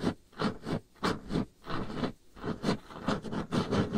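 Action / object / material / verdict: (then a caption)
scrape / varnished wooden tabletop / varnished wood / none. Long painted nail tips scratch back and forth across a solid varnished wooden tabletop. The result is a steady run of soft, grainy rasping strokes, weighted toward the low end, that swell and fade at an uneven pace of roughly one and a half per second.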